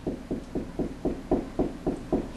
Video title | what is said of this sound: How to install an AC 4 hour timer...Part 1 | it's kind of a low hollow noise